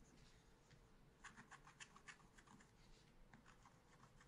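A wooden stylus held in the right hand scratches monkey figures into a small spiral-bound pad of black scratch paper held down by the left hand. It makes a quiet, quick run of short, bright scratching strokes, loudest in the middle, over a steady low background hum.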